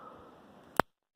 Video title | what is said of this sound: Flint and Steel Fire with Coffee! | A real crisp sound when they snap. That's a good way to know that they are nice and dry.